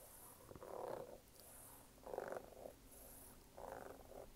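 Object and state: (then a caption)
Rubber sneaker sole. Fingernails scratch and tap the brown waffle rubber outsole of a red canvas sneaker held vertically, producing three soft, mid-pitched raspy bursts around 500 Hz with faint bright hiss in between. The scratching comes in slow, uneven swells over a quiet background.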